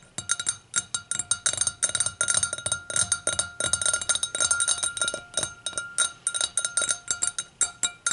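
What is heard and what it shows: Long pink-tipped acrylic nails tap and scratch the bowl and foot of a clear, empty, hollow-stemmed hurricane glass lying on its side on a towel. About 44 quick, bright clinks and ticks come in an uneven, rapid stream, each dying almost at once. A faint, steady glassy ring hums underneath.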